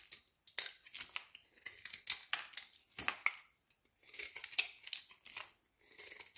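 A solid green soap bar held in the hand is scored and shaved into flakes with a metal utility knife blade. A quick run of dry, crisp scraping and crunching strokes comes in bursts, bright and hissy with almost no low end. Each stroke stops short with no ring after it.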